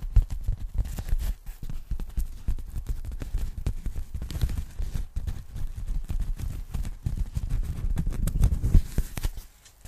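Long nails scratch and tap the textured surface of a pink polyethylene foam packing bag, unfolded from a sheet and then flattened, held in both hands. The result is a dense run of soft, dull, muffled taps and rustling scrapes with almost no ring, fading to near silence at the very end.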